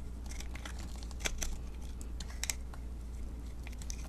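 A metal blade cuts small sticks off a solid mint-green bar of soap held in the hand and scrapes its surface. Quiet, crisp scraping and crunching is heard, broken by a few sharper, bright snaps, over a steady low hum.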